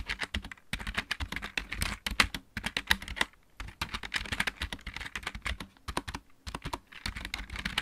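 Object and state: Plastic mechanical keyboard.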